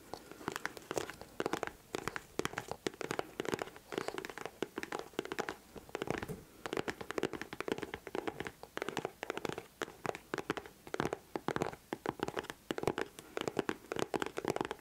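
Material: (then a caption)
Leather. Long nails tap and scratch a white leather boot held close to the mic. A rapid run of short, dry clicks and scrapes with almost no ring continues steadily throughout, centred on a steady midrange band near 400 Hz, with brief brighter scratches on top.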